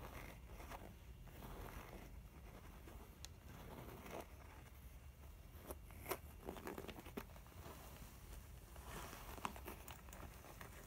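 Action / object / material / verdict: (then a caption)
scrape / faux leather zip pouch / faux leather / none. Fingertips and long nails scratch and rub the front panel of a closed, full mint pebbled faux leather zip makeup pouch, then both hands press its sides. The sound is a quiet, steady rustling scratch with a low rumble underneath, broken by scattered sharp, bright ticks and crinkly snaps. Light handling noise from the bag may be mixed in.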